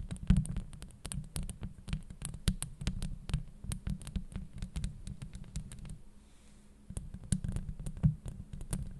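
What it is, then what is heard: Metal mesh microphone grille scratched by nails. Long acrylic nails on both hands scratch across the metal mesh grille of a Blue Yeti microphone. The result is a dense, deep rumbling scrape threaded with rapid, bright clicking ticks, easing into a brief quiet lull before the scratching picks up again.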